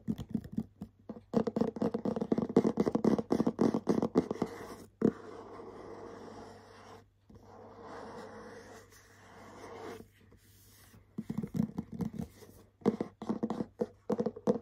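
Short nails scratch and tap on the white coated back of a cardboard cosmetics set box, producing quick dry taps and bursts of scraping. Busy tapping runs through the first five seconds, then steadier scratching follows until about ten seconds, and tapping returns at the end.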